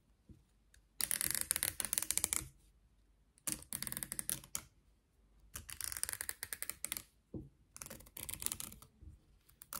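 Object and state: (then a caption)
Plastic comb. Long nails scratch and flick along the teeth of a solid, beige plastic wide-tooth comb with a long handle. Four bursts of rapid, bright, dry clicking and ticking come through, each tick sharp and gone almost instantly, with brief quiet gaps between the runs.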